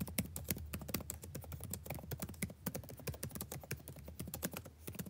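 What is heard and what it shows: Fast fingertip typing on the plastic keys of a backlit laptop keyboard, the same keyboard throughout. It makes a steady run of quick, dry clicks with a soft low thud under each tap and bright tick edges, each dying away almost at once over a faint constant low hum.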